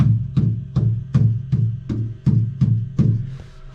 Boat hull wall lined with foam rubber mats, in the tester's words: Instead of it being a really piercing, echoing knock, it's more of a thud.